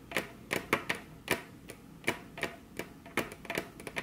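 Very long curved fingernails tap their tips on a flat, solid, glossy dark-brown wood-grain table top, with both hands resting on the table. About fifteen sharp, bright clicks come in an uneven rhythm, each dying away almost at once, over a faint quiet background.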